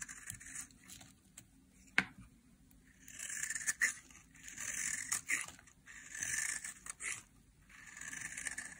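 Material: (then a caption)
Soap. A small, solid, dry yellow soap bar is held in the hand and shaved with a metal craft knife blade, and the flakes fall onto a white surface. Bright, hissing scrapes come in several longer strokes, broken up by a few sharp clicks of the blade.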